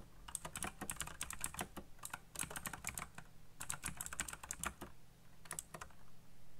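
Fingertips type slowly on a black backlit mechanical computer keyboard with plastic keycaps, giving distinct, bright, sharp clicks that decay quickly. The keystrokes come in quick clusters with two brief pauses, over a steady low hum.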